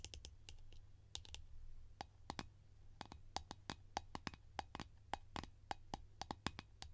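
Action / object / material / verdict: tap / plastic cream tin lid / plastic / none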